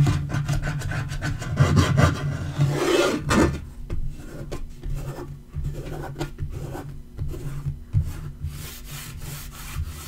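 Fingertips and nails rub and scratch back and forth across a dark wood-grain laminate portable table top. The result is a steady, irregular run of low, dull rasping strokes with a deep, heavy body. A brief, louder, brighter scrape swells up near the third second before the rubbing settles back into softer, quicker strokes.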